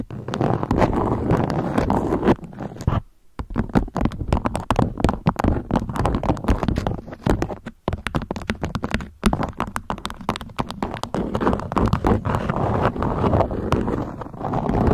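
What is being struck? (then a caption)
Beeswax-coated cotton food wrap. Long nails tap and scratch a stiff beeswax-coated cotton food wrap draped into a peak. The result is a dense, steady stream of soft, muffled taps and scratchy crinkles, weighted toward the low end with almost no brightness. Brief quiet gaps fall near 3 and 8 seconds.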